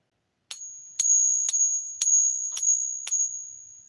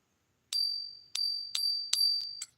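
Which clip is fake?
The first.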